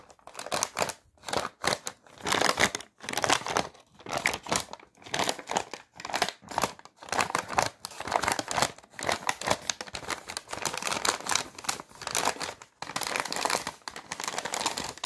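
A thin, flat sheet of white paper, possibly an envelope, is held in both hands and crinkled and crumpled with the fingers. Dry, crackling crinkles come in irregular bursts separated by short pauses, bright and papery with almost no low end. The bursts grow longer and denser toward the end.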